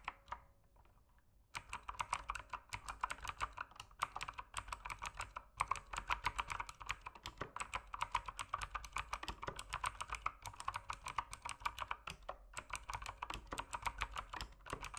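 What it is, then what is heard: Plastic mechanical keyboard. A mechanical keyboard with plastic keycaps is typed on with the fingertips. After about a second and a half of near silence, a steady stream of short, clicky keystrokes follows. They are bright and snappy, with a clacky body centered around 1 kHz and very little ring.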